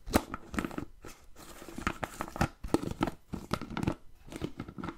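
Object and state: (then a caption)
Plastic food container tapped and scratched. Fingertips and nails tap and scratch the lid and sides of a medium-size, hollow, empty-looking clear plastic food container with a blue plastic lid. The result is a run of short, dry clicks and crinkly scrapes with almost no ring, broken by brief quiet gaps.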